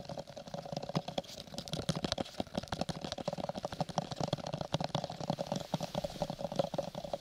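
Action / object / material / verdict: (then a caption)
tap / textured cardboard gift box / cardboard / none. A small, hollow lilac textured cardboard gift box is held in both hands in front of a microphone and tapped and scratched with fingertips and nails. Quick, dry, irregular taps and scratchy rasps run without pause, with a hollow resonance around 570 Hz and some low body under the clicks. Each hit dies away almost at once.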